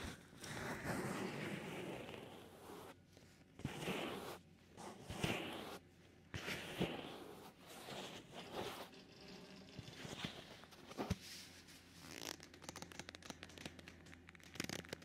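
Black leather-gloved fingers rub and cover the white silicone ear of a binaural microphone, first with the flat hand and then with the fingertips, rubbing and scratching it. This makes muffled, zipper-like rasping scrapes and rustling swells in uneven bursts over a steady low hum.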